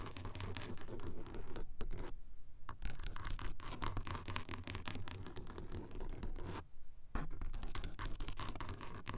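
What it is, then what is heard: Car sun visor, fabric and plastic. Long acrylic nails scratch across a car sun visor covered in grey textured fabric-like material and across its closed plastic mirror cover, picked up by a small mic taped directly to the visor. The result is dense, rapid scratching with a low rumble underneath and a few brief near-silent pauses.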